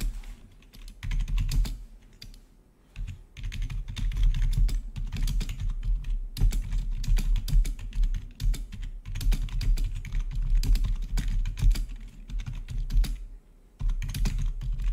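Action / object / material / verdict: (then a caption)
tap / plastic membrane computer keyboard / plastic / none. A full-size black plastic membrane-style gaming keyboard with blue-to-red RGB backlit keys is typed on rapidly with the fingertips of both hands. Fast, dense bursts of soft keystroke clicks carry a dull low thump, with short pauses near the start and again near the end.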